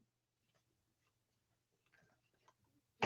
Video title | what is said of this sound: Terror Vision Talk - Special Guest Malcolm Harvey | if you hit a slip cover and then you can hear like there's a slight knock on it you know for it's good quality